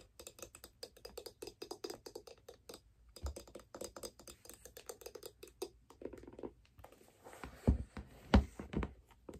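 Long fingernails tap and scratch a figure skate held upside down, working over its steel blade and the aluminum mounting plate with screws that sits on a wooden sole. A rapid, uneven patter of quiet, dull taps runs for most of the clip, then gives way to rougher scratching with two louder knocks near the end.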